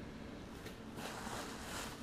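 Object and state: Nothing is struck.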